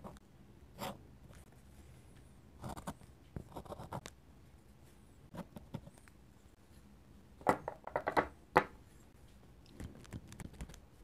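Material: Paper.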